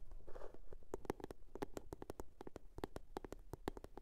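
A blue box is tapped and scratched. A brief soft scratching early on gives way to a quick, irregular series of sharp, dry taps with a hollow tone around 390 Hz that die away almost instantly. The sound is quiet and close, with no voice.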